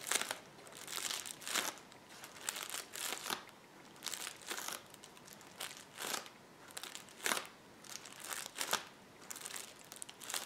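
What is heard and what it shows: Fingertips press, tap and rub the bubbles on a roll of clear plastic bubble wrap resting on a table. Bright, crisp crinkling and crackling comes in uneven bursts separated by short quiet gaps, with almost no low end.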